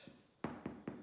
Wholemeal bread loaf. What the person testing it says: if it sounds dull it's not cooked if it sounds Hollow it's cooked